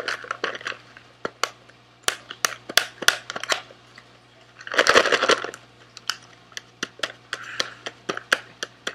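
A small sealed SweetTarts cardboard box with candy inside, held in both hands, is tapped and scratched with fingernails. Dry, sharp, bright clicks come in irregular bursts. Around the middle, a dense rush of scratching and rustling swells, then gives way to scattered taps again.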